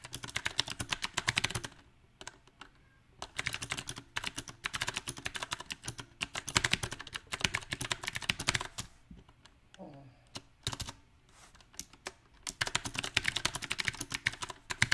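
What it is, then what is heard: Mechanical keyboard with round plastic keycaps. Both hands tap rapidly with their fingertips on a compact backlit mechanical keyboard with round plastic typewriter-style keycaps. The result is bursts of bright, sharp clicks separated by short pauses.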